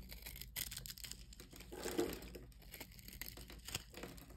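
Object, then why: Solid bar of soap cut with a metal blade. A small, solid orange-and-yellow striped soap bar, held in the hand, is scored and shaved into cubes with a metal utility-knife blade. Quiet, dry crunching and crackling scrapes come in quick, irregular bursts with bright edges. The fullest crunch lands near the middle, and the cutting goes on steadily throughout.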